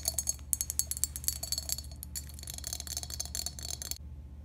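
Long pink acrylic nails tap and scratch a hollow, empty, hand-sized green glazed ceramic toothbrush holder with three holes in its top. Quick, bright, high-pitched clicks with almost no ring come in rapid bursts, blending into lighter scratching. A low steady hum runs underneath until the tapping stops near the end.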